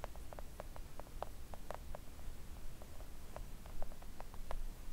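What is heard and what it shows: Long acrylic nails tap on a flat, thin, solid pink silicone nail art mat. The result is a string of quick, soft, dull clicks with almost no ring, played at an uneven pace over a low background rumble.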